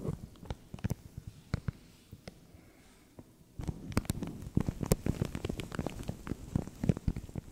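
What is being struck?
Thin plastic bag.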